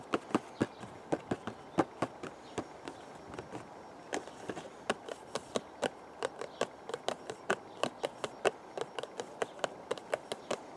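Fingertips tap the face and narrow side of a hollow purple cardboard teacake box held close to the camera. About 39 quick, dry taps with a hollow mid-range knock come in an irregular rhythm. Each tap dies away almost at once over a faint background hiss.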